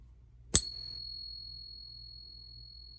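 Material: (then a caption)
Silver. A 1922 silver dollar coin is tapped while resting on a pocket Pinger, producing a bright, high-pitched ring with a fainter tone. The ring sustains and slowly fades over the rest of the clip, and the coin sounds genuine.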